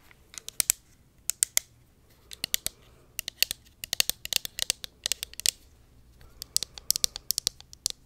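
Long nails tap and scratch a hollow pink plastic cosmetic pump bottle held close to the mic. The result is quick bursts of sharp, bright, dry clicks with almost no low end, grouped in clusters separated by brief pauses. Each tick stops instantly with no ring.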